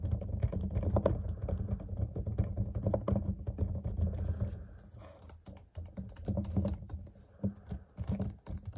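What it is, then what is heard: Plastic water bottle. A clear PET water bottle with a label, mostly full of water and held upright, is tapped rapidly with fingertips and nails. The taps are dull, low and short, with a muted patter that quiets briefly in the middle before the tapping picks up again.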